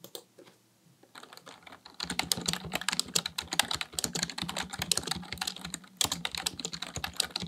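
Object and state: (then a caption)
Plastic computer keyboard being typed on. Both hands type with their fingertips on a full-size black plastic Dell keyboard resting on a desk, producing rapid, bright key-press taps. The clicking starts sparse and quiet, then becomes a dense, steady flurry of crisp, short clacks from about two seconds on, over a faint low hum.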